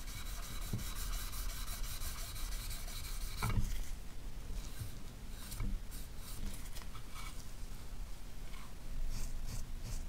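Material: Copper.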